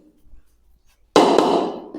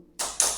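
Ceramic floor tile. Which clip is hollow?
The first.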